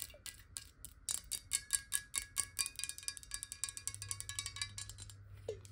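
A clear glass water bottle, partly filled with water and held tilted, is tapped quickly with long nails. Bright, crisp clicks with a faint glassy ring come in a fast, uneven run over a low steady hum.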